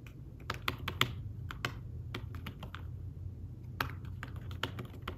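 Fingertips tap the keys of a thin fabric-covered tablet keyboard case while typing. Soft, irregular clicks with brief, bright edges come in quick bursts and pauses over a steady low hum, and each tap dies away almost at once.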